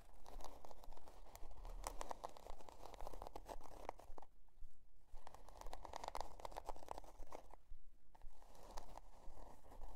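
Long dark nails scratch and tap the stiff cardboard cover of a spiral-bound notebook printed with a scale pattern, resting on faux fur. Quiet, dry, crunchy scratching strokes repeat in a steady rhythm over a low rumble, with two brief pauses partway through.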